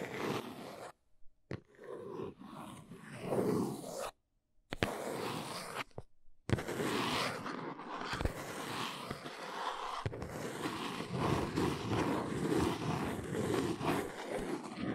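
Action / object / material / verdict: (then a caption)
scrape / cardboard box / cardboard / none. A single long nail taps and traces along the side of a small brown cardboard box lying on its side. Dry, scratchy scraping and soft papery taps come in short, irregular bursts broken by brief silences early on, then settle into a steadier, continuous rasping trace.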